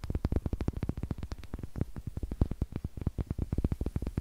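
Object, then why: Small unfinished wooden eggs. Two small, solid, light unfinished wooden eggs held in the fingers close to the mic are tapped with long nails and clicked together. The result is a rapid, steady run of about three dozen short, dry wooden knocks that stop almost instantly, with a deep, hollow low thump and little bright edge.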